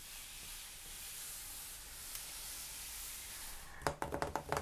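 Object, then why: Hardcover book with glossy cardboard cover. For almost four seconds, fingertips and short nails of both hands, with rings on, lightly scratch the glossy cardboard and paper cover of a large, solid, closed hardcover coffee-table book, "Rolling Stone Images of Rock & Roll", lying on a wooden table, making a soft, steady hiss. This is followed by seven quick, dry, separate taps on the cover near the end.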